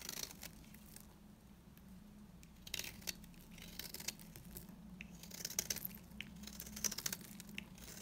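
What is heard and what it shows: A metal blade shaves curls off the edges of a solid, dry beige bar of soap, cut into an angular shape and held in the fingers. It makes a series of crisp, bright scraping and crunching strokes with short dry crackles, over a faint steady low hum.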